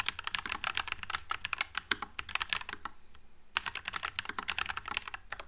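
A white low-profile Nuphy Air96 mechanical keyboard with Wisteria switches and plastic keycaps is typed on with one hand's fingertips. It produces rapid, bright, crisp clacks with very little low end and almost no ring. A brief pause near the middle splits the typing into two runs.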